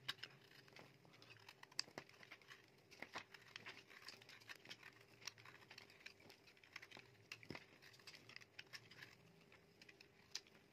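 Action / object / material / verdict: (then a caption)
scrape / bar of soap scraped by a metal knife blade / soap / none. A metal utility knife blade scrapes and shaves flakes off a solid, dry, light green palm-sized bar of soap held in the hand. Quiet, crisp, bright scratching and crackly patter come in quick irregular bursts of sharp, short clicks. A faint, steady low hum runs underneath throughout.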